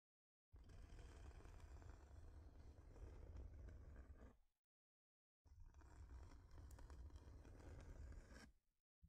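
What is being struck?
Thin flat wooden heart-shaped board.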